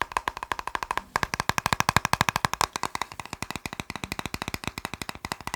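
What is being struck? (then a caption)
Plastic box. A plastic box is tapped quickly with a rapid, steady stream of short, dry clicking taps that each stop almost instantly, with a brief pause about a second in before the tapping resumes.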